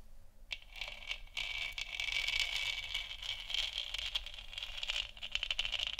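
Long nails scratch and tap the textured surface of a large, hollow, 3D-printed plastic moon lamp sphere lit white. The result is a steady, bright, papery scraping focused around 2–3 kHz, broken by quick, crisp tapping clicks with almost no low end.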